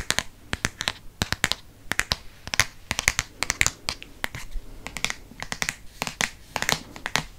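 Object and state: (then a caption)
Hardcover book, solid. Fingertips and nails tap the glossy paper-covered board front cover of a solid Harry Potter hardcover book held upright in the hand. The result is a rapid, irregular run of short, dry clicks and taps with a bright, crisp edge and almost no ring, over a faint rustling background.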